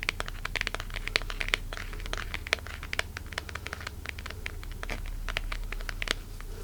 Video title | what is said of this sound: [ASMR] Fingertip Tapping to Find The Best-Sounding Item | very tinkly in my opinion because the plastic is mostly firm but also rather flexible